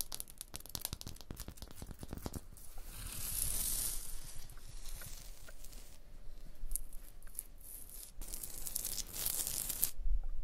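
Long blue nails scratch and tap a rough, textured stone block wall near a mortar joint. Quick, uneven taps open the clip, then give way to gritty, bright scraping that swells and fades in waves, with soft clicks scattered through.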